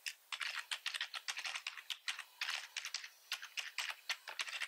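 Fingertips of both hands type quickly on a full-size black plastic computer keyboard with red accent keys and a hollow body, resting on a wooden desk. The result is a rapid stream of bright, clicky keystrokes in uneven bursts with short gaps between them. Each tap dies away almost instantly, with no low thump beneath.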